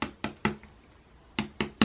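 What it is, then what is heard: Hollow tapioca bread roll. Fingers tap six times on a sesame tapioca bread roll, in two groups of three. Each tap is a short, hollow, muffled thud with a low pitch around 215 Hz that dies away quickly, like a small basketball. The roll is hollow inside, with room enough to fit a finger.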